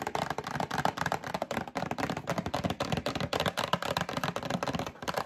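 Long acrylic nails tap rapidly and irregularly on a medium printed cardboard Breakfast Essentials box held up in one hand. The result is a steady stream of dry, hollow, papery knocks with bright clicking edges, each one dying away almost instantly.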